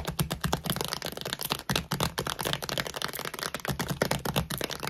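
Long glittery nails tap and scratch fast on the side gusset of a full plastic dog food bag, near its barcode and weight label. Rapid, crisp clicking taps mix with dry, scratchy crinkles, each one short and dead with almost no ring.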